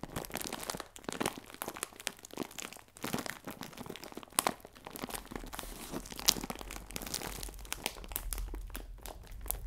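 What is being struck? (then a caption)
Plastic film bag of biscuits. A clear plastic film bag full of biscuits is squeezed and turned sideways in the hands, giving dense, bright crinkling with crunchy crackles. The sound comes in quick, dry bursts with brief lulls, and the crackles stop without ringing on.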